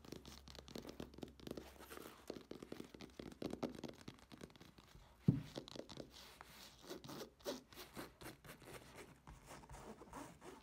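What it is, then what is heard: Fabric clutch bag scratched. Long nails scratch and rub the back surface of a black textured fabric clutch bag that is held up, making quiet, continuous scratchy rustling. One sharper, louder knock stands out about halfway through.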